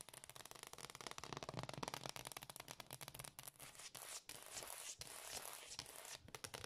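Long dark-painted fingernails on both hands tap and scratch fast across a large, solid, dark glossy hardwood floor. A dense stream of crisp, bright clicks blends with scratchy rustling and short brief pauses, and each tap dies almost instantly.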